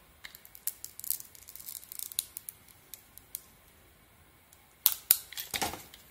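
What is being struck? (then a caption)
Bar of soap cut with a metal blade. A hand-held, hand-sized solid bar of soap with a blue and green pearly coating and an embossed logo is scraped and carved by a metal blade, its thin shavings piling up below. Soft, crisp, bright scratches and clicks come in quick, uneven bursts, with almost no low end. The clip ends with a few louder, sharper cuts.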